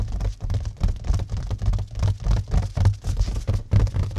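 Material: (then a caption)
Plastic film. Fingertips scratch and quickly tap the cling-film wrapping over a flat mirror set in a white cardboard mat. The result is a steady run of soft, dull, low scratchy taps in irregular bursts with almost no ring.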